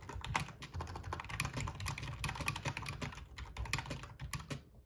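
Fingertips of both hands type steadily on a full-size black plastic RGB membrane gaming keyboard with a metal top plate. Rapid, uneven clacks with bright clicky tops and a soft low thump under each keystroke run throughout, trailing off at the end.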